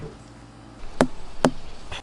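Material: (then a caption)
Melon rind. A watermelon is thumped twice to judge its ripeness, giving two short, dull thuds with a low body around 250 Hz that die away almost at once. A faint low hum runs underneath.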